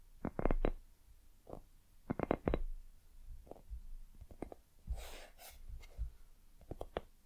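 Long acrylic nails tap and scratch the surface of a palm-sized, hollow, white soft silicone dumpling-shaped night lamp held in both hands. Quick clusters of soft, dull taps with a low, muffled thump alternate with a brief, brighter scratching rustle midway.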